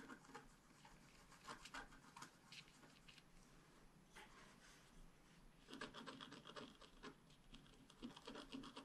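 A wooden stylus scratches the coating of a flat scratch art paper sheet. Quiet, rapid, uneven scratching strokes with a dry, bright rasp come in bursts, with a denser run of strokes in the second half.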